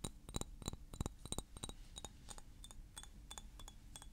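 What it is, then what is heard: Glass perfume bottle. A thick clear glass perfume bottle with blue liquid and a silver cap is held in the hands and tapped and clinked with nails and fingertips. The result is a quick, somewhat uneven series of short, bright glassy clinks with high overtones over a quiet low hum, each tap dying away almost at once.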